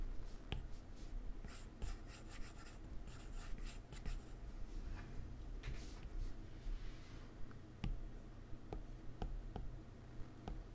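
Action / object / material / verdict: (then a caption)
tap / plastic stylus on a glass touchscreen / glass / none. A plastic stylus tip draws strokes across a solid iPad glass touchscreen, making soft, quiet scratching and rubbing sounds with brief bright swishes. It then taps the layer menu with a series of short, sharp clicks over a low background hum.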